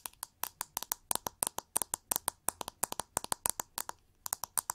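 Long nails scratch and tap the back of a pink, hollow, oval plastic hair brush with white bristles, held over the mic. About thirty quick, dry clicks follow in an uneven rhythm. Each is a bright, sharp tick with almost no ring and very little low end, over a quiet background.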